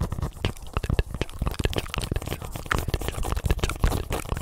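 Fingertips and nails tap and scratch a small yellow and black soccer ball, hollow and inflated with a synthetic leather cover, held close to the microphone. A rapid, uneven stream of dull, deep thumps mixes with dry, crackly scratching. Each tap dies away almost instantly, leaving a close, boomy rumble throughout.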